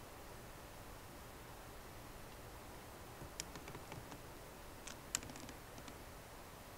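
Slow typing with long nails and fingertips on a MacBook Pro keyboard with plastic keycaps in an aluminum body. Sparse, quiet, irregular clicks and taps with a bright edge sit over a steady low hiss. The taps grow busier and sharper toward the middle before thinning out again.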